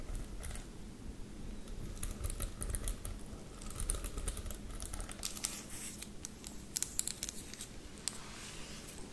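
A teal plastic paddle hairbrush with a hollow body and dense pin bristles with teal ball tips is held up while long lavender acrylic nails scratch and tap across the bristles. The result is a quiet, steady flow of crisp, bright scratching and ticking, with sharper taps standing out now and then over a low rumble.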